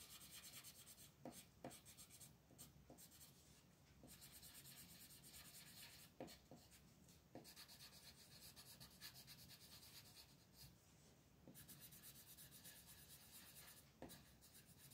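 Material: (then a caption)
Paper. A teal colored pencil rubs back and forth across a flat paper coloring book page on a table, coloring the leaves of a vine while the other hand rests on the page. The result is a steady, bright, scratchy rasp with short lifts and soft taps between strokes.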